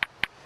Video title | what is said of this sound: Ray Mears Wild Food S01E02 | if it's a good piece, it should have a real crystal sound like that. That means there aren't so many flaws in the flint that will cause me problems